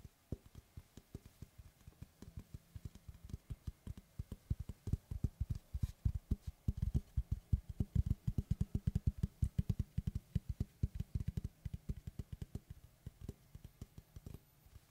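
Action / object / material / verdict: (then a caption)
tap / round wooden tree slice / wood / none. Fingertips and short nails tap and scratch the cut surface of a large, round, solid wood tree slice board held upright. Dozens of quick, dull taps follow in an uneven rhythm, dense and low-pitched with almost no ring and little bright content, growing busier and louder in the middle before easing off toward the end.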